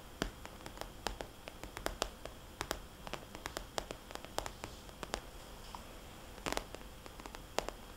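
Long nails tap the glossy face of a small red polka-dot vinyl cosmetics bag turned on its side, giving soft, hollow taps. The quick, irregular clicks are sharp and bright, with almost no ring, over a quiet, steady background hiss, and a brief cluster of taps lands near the end.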